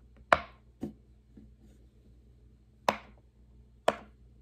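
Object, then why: Silicone push-pop fidget toy. An index fingertip presses single hollow bubbles on a large square rainbow silicone pop-it fidget toy resting on a wooden table. Each press makes a short, sharp, hollow pop with a mid-pitched snap and a quick bright tail, separated by quiet gaps. Some pops are louder than others.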